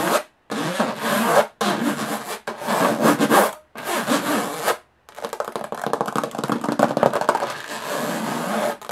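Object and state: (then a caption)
Aluminum carry case. Long nails scratch fast across the textured lid of a closed, hollow aluminum carry case, making a dry, bright rasping sound. Five separate sweeping strokes come first, split by short silences. Then a steadier run of quicker, choppy scratches follows to the end.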